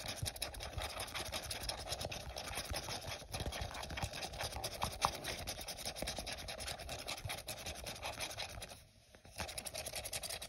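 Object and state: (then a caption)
Plastic cup scratched with fingernails. Short fingernails scratch along the side of an empty, hollow, translucent printed plastic cup held in the hand, making a dense, continuous, crackly scratching. The sound briefly drops away near the end, then resumes.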